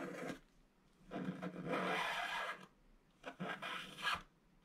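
A flat scratch-art card of black wax coating on gold foil paper, held in one hand, is scraped by a wooden stylus held at a low angle. Short bursts of dry, raspy back-and-forth scratching are separated by quiet gaps, and the scraping strips the black coating away to reveal the gold foil.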